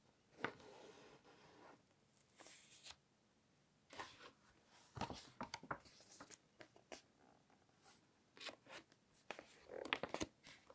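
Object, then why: Glossy paper magazine pages. Fingertips flip the pages of an open glossy fashion magazine and rub and brush across the glossy paper surface. The result is quiet, crisp, bright rustles and sharp papery snaps, separated by soft brushing and near silence.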